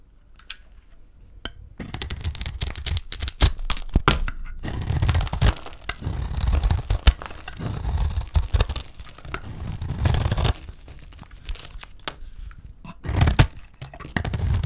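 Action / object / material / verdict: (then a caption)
scrape / bar of soap cut with a small metal blade / soap / none. A hand-sized solid green bar of dry soap, held in one hand, is shaved with a small metal blade held in the other, peeling off curls of soap. After a quiet first couple of seconds, a dense run of crisp scraping and tearing cuts follows, each stroke a dry, crackly burst with a low, close thump beneath. The strokes come in uneven clusters with short pauses before resuming.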